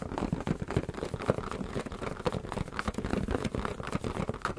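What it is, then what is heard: Inflated rubber balloon. A hand-sized, hollow, air-filled blue latex balloon, held in both hands close to the microphones, is tapped and rubbed with fingertips. The result is a dense run of soft, dull, low-pitched taps mixed with squeaky rubbing, each tap dying away almost instantly.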